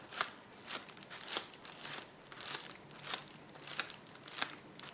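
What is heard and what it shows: A roll of clear plastic bubble wrap is pressed down by palms and fingertips, making bright, dry crunching and crackling, possibly with bubbles popping. The short sharp bursts come in an irregular stream with almost no ring, over a faint steady hiss.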